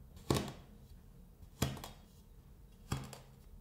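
A metal scraper blade chops short cuts into a flat, solid sheet of kinetic sand. Three evenly spaced, crunchy chops land with a low, dull thud and a bright, gritty edge, each dying away quickly into a quiet background.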